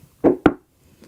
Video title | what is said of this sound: Audio Explained : Speaker Design And What to Buy | it's very thin not good